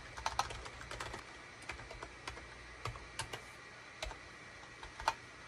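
Fingertips of both hands type rapid key presses on a gray SHIPADOO K600, a full-size wired USB keyboard with a hollow gray plastic case and cream, gray and orange plastic keycaps, resting on a desk mat. The result is a quick, uneven run of short, dry plastic clicks centered around 900 Hz with bright edges. Each click dies away almost instantly over a faint low hum.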